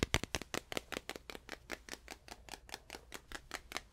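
A small stretched canvas panel is tapped up close and far away with a steady run of about 22 quick, dry taps. Each tap is a short, bright click with a soft low thump underneath and almost no ring, over a faint, constant low hum.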